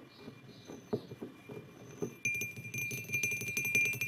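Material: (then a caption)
Ceramic. Fingertips of both hands tap the sides of a white glazed ceramic mug resting on a wooden table. Soft, irregular taps come first, then from about the midpoint the tapping turns louder and denser, with a bright clinking ring around 2.4 kHz that sustains briefly after each tap.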